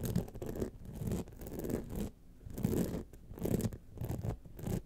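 Long nails scratch the sides and face of a gold rhinestone-studded clutch wallet standing upright, making rough, gritty scraping bursts with bright hissy edges. The scratching comes in several rising and falling passes, with a brief quieter pause in the middle.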